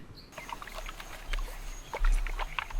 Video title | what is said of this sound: Cleaning Coconuts For Beginners | if you hear the water inside this means that the shell is not broken and the flesh is good